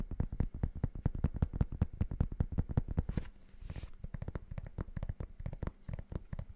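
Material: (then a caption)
Rubber. Fingertips and nails rapidly tap the gray and black patterned rubber outsole of a sneaker held upside down. The result is a fast, dull run of low, thuddy taps with no ring. The tapping breaks briefly midway for a couple of soft, hissy rustles, then resumes slightly quieter.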